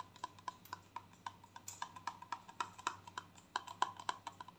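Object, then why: Small plastic squeeze tube. Long painted nails tap quickly and unevenly on a small gold squeezable plastic conditioner tube, hollow and containing product, held in the hands. About thirty short, dry clicks with a faint hollow tone near 1 kHz and a bright edge, each dying away almost instantly over a quiet background.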